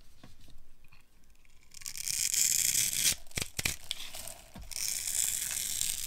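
A small metal blade scrapes and carves flakes off a dry, solid oval pink bar of soap, textured from earlier scoring and held in one hand with long red nails. Light, faint scratches give way to a loud, bright, hissing scrape, broken by a few sharp clicks and a brief lull. The scraping then resumes steadily.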